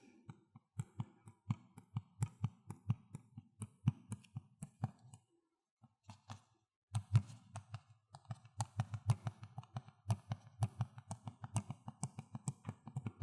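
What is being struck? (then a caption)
Plastic video game case. Fingers tap on the plastic Xbox 360 case of Need for Speed: Most Wanted, producing about 53 quick, hollow, low-pitched taps with almost no ring. The steady tapping pauses briefly near the middle, then resumes faster and denser to the end.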